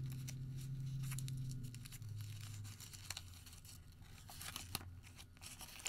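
A white thermal paper receipt is pinched small, then opened and folded between the fingers of both hands. It gives quiet, bright crinkling and crackling with a few sharper snaps, over a steady low hum that fades after the first couple of seconds.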